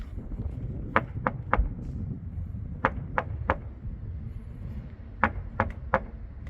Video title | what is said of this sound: 2만명 일본인이 집안에서 얼어죽는 충격적인 이유 "실제 일본 가정집 영상 공개" (신작가, 호사카 유지, 이명찬 / 일본 특집) | 텅텅 소리가 납니다. 아니 텅 비어 있는 소리예요.